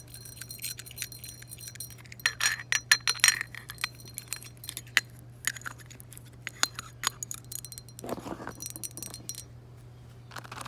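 A hollow green embossed glass tiki torch canister with a black cap and a metal bead chain, standing on a table, is tapped and handled with long acrylic nails. Quick, bright glassy clicks and clinks with brief jangling come in scattered bursts, each dying away almost at once, over a faint steady low hum.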